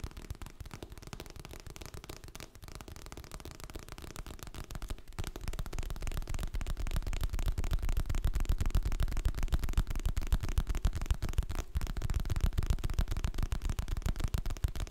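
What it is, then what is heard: Hardcover paper book. A medium hardcover paper book with a glossy printed cover, solid and held in both hands, is tapped rapidly on its cover and spine with fingertips and nails. The taps form a fast, uneven stream of short, dull, low thumps with almost no brightness, and they grow louder after the first few seconds.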